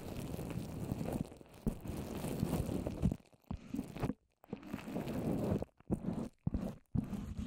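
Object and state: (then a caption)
Wet papier-mâché covering a microphone. Long orange nails on both hands tap and scratch a rounded microphone covered in wet white papier-mâché. The result is close, dense, crunchy scraping and sticky tapping on the damp paper, heavy in the low end with little brightness, broken by a few short silent gaps.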